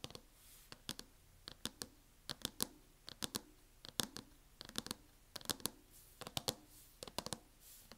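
Long painted acrylic nails on both hands tap a closed MacBook in a mint matte plastic hard-shell case lying flat on a wooden table. The result is quick clusters of sharp, bright clicks with almost no ring, separated by quiet gaps.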